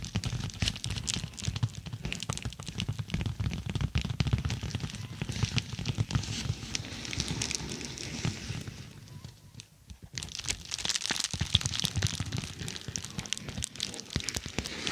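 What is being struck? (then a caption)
Plastic padded bubble mailer. Long nails scratch and tap the textured surface of a dark, glossy, roughly A4-size plastic padded bubble mailer printed "Sweet Dreams" that is laid over the mic. Dense, irregular taps land as deep, muffled thumps layered with bright plastic crinkling and scratching. Near the end the sound briefly quiets, then returns as brighter, busier crinkles.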